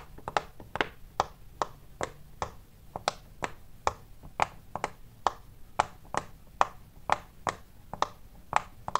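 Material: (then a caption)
Silicone. Fingers and knuckles press and pop the small hollow bubbles along the red and yellow rows of a large, square, rainbow-striped silicone pop-it fidget toy. About 25 short, sharp pops sound in an uneven rhythm, each a dry snap centered near 1 kHz with a bright edge. There is almost no ring, and only faint rustling is heard between pops.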